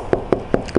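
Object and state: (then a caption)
Damped undercoated car underbody panel. Four quick knocks on the steel underbody panel of a Kia K8 hybrid coated with MS polymer undercoating, applied for rust-proofing and sound deadening. Each knock gives a dull, damped thud centered low in pitch that dies away almost instantly, with none of the ringing of bare steel plate, showing the coating is deadening the panel as intended.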